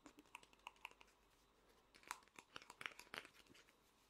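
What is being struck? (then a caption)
Small hollow vinyl toy figure. Fingernails tap quickly on the head and body of a small, hollow vinyl Funko Pop figure, making sharp, bright clicks with a hollow tone. The taps come in an irregular scatter, sparse at first and then denser and louder in the second half, each one cutting off almost at once over a faint background hiss.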